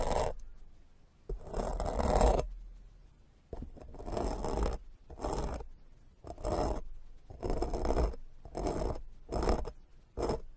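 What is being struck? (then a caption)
Foam microphone windscreen scratched with a plastic fork. The tines of a white plastic fork scratch across a black foam microphone windscreen, resting on the foam throughout. Repeated scratchy strokes come in bursts of varying length, with a heavy low rumble and a rough, brushy midrange that reaches up into a bright hiss. Short quiet gaps separate the strokes.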